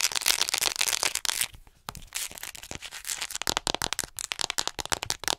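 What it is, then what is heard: Plastic acupuncture model doll. Long acrylic nails quickly tap a hollow white plastic acupuncture model doll held in front of the microphone. Dense, bright, crackly clicking gives way after a brief pause to rapid, sharp, dry taps with almost no ring or low end.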